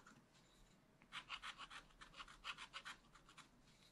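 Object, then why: Black-coated scratch-art card scratched with a wooden stylus. A wooden stylus scratches leaves and details into a thin black-coated scratch-art card in a spiral book lying flat. After a quiet first second, about fourteen short, dry, bright rasping strokes follow in a quick, uneven rhythm of roughly three per second. The strokes then fade back to faint scratching.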